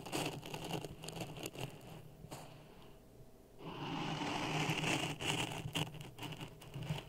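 A wooden stick pokes and stirs dry sand in a clear plastic cup resting on top of a red microphone. It makes a dense, gritty crackle and scrape with quick irregular ticks, fading quieter for about a second around the middle before swelling back louder and brighter. The stirring carries on in short bursts until the end.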